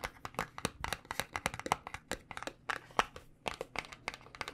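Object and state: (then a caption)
Cardboard box. A small white paperboard cosmetic box, held in the fingers, is tapped on its edges with fingernails and fingertips. A quick, irregular run of dry, crisp clicks and hollow taps follows, bright and papery with a faint crinkle. Each tap dies away almost at once.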